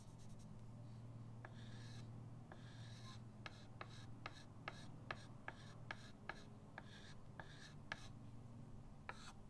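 A white chalk stick held by the fingertips draws scratchy lines across a flat, solid chalkboard in a wooden frame resting on a table. Bright, rasping strokes with a squeaky tone near 1.7 kHz alternate with short, sharp ticks as the chalk meets the board. A steady low hum sits underneath throughout.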